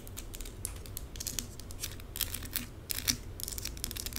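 Long pink acrylic nails scratch fast over small plastic rhinestone stickers scattered across a forearm. Rapid, bright, crisp scratching clicks come in dense bursts over a steady low rumble, each click dying away almost instantly.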